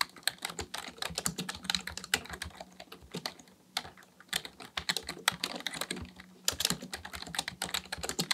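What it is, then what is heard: Plastic computer keyboard being typed on. Two hands type steadily with their fingertips on a black plastic full-size computer keyboard resting on a desk. Quick, bright, clicky key taps come in rapid flurries with very short decay, broken by brief pauses, over a faint low hum.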